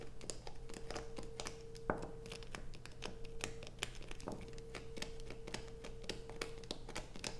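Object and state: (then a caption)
Bar soap scratched with nails. Long nails scrape and scratch a solid blue bar of soap resting on a black plastic sheet, with one hand steadying the bar. Rapid, dry, crackling scratches and sharp clicks run throughout, with one louder snap near two seconds. A steady low hum and a faint sustained tone sit underneath.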